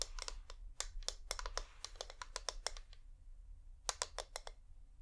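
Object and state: Wax-coated LED pillar candle.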